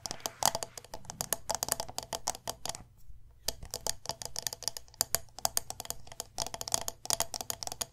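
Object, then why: Glass candle jar with metal lid. Long nails tap quickly on the sides and silver metal lid of a medium glass candle jar filled with wax. Rapid, bright, dry clicks with almost no ring run in dense bursts, with a brief quiet pause near the three-second mark.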